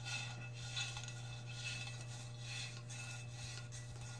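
A metal cup is scratched close up with long red fingernails, making a continuous soft rasping scrape with bright, faintly ringing metallic tones. A steady low hum runs underneath throughout.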